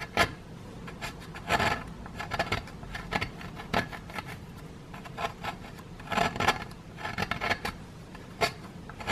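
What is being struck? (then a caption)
Plaster block scraped with a wooden stick. A wooden stick scrapes at a solid grey plaster excavation block, loosening plaster dust. Short, irregular rasping scrapes come in bursts over a quiet background, with a gritty, bright texture and a few sharper scratches standing out.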